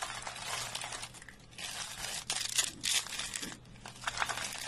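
Thin, dry green soap shavings rolled into hollow spiral coils are dropped by hand, then squeezed and crushed between bare fingers. The result is a dense, irregular stream of bright, crisp crinkling and crunching, with louder bursts of crackle toward the middle and a softer rustle between them.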